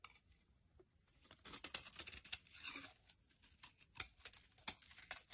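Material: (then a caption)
Soap. A utility knife carves thin slices off the top edge of a solid yellow soap bar held in the hand. Soft, dry scraping and crisp crackling cuts come in irregular bursts, almost entirely bright and high with very little low end. Short clicks and snaps stand out above the quiet, papery shaving sound.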